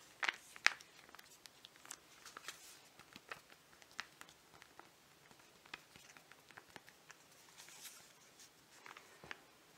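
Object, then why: Filled foil-laminate sachet. A flat, filled foil-laminate mud mask sachet is turned over in the hands and tapped and scratched with fingernails. Quiet, bright crinkles and sharp little clicks come at an uneven pace, each dying away almost instantly, with two louder taps near the start.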